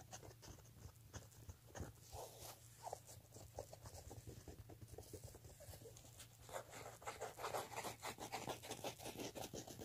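Fingertips and nails scratch along the edge of a black woven-fabric clutch handbag, seen from the side. The result is a quiet, rapid, irregular patter of dry scratching strokes over a steady low hum, growing busier and louder toward the end.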